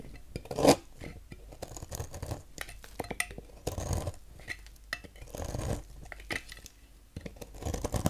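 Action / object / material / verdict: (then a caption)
scrape / bar of soap shaved with a knife / soap / none. A thin knife blade carves shavings off the end of a solid cream-colored bar of soap held in hand over a table. Soft, dry scraping and shaving strokes come in uneven bursts, with one sharper, louder cut near the start and quieter rasping in between.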